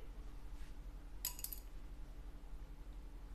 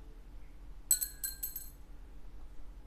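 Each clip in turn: First: plastic guitar saddle. Second: synthetic bone guitar saddle.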